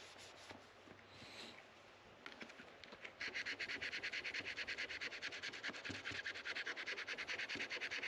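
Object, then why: Rosewood guitar fretboard scraped with a plastic card. A white plastic card is scraped firmly along the dark rosewood fretboard of a guitar neck resting on a neck rest, working the wood between the frets. After about three seconds of faint rustling, a fast, steady run of bright, raspy scraping strokes begins, about two per second and centered near 2 kHz, each one short and dry.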